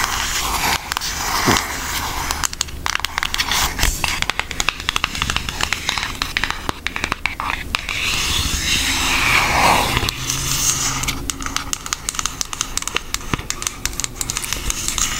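Long acrylic nails tap and scratch across a thin, flat, brown Hershey-themed cardboard eyeshadow palette. Dozens of quick, irregular, dry clicks and crackly scrapes sound over a steady low hiss. The sound is bright and close, with no ring after each tap.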